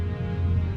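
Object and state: Nothing is struck.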